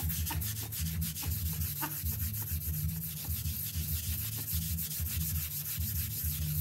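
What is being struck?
Synthetic-pile rug scrubbed with a stiff brush.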